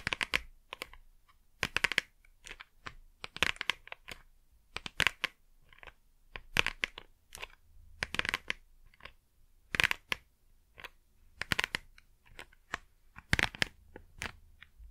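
Fingertips and long nails tap and scratch the front face of a small, hollow, printed cardboard Blu Tack box in quick rhythmic strokes. The result is dry, bright clicks and scratchy rasps with almost no low end, arriving in short clustered bursts that stop dead with no ring.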